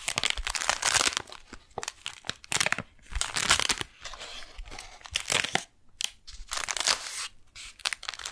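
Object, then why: Kraft paper package holding a beeswax wrap. Long nails scratch and tap on a brown kraft paper package with a window holding a beeswax wrap while hands grip it. Bright, papery crinkling and scratchy tearing-like rasps come in uneven bursts, with brief quiet gaps between them.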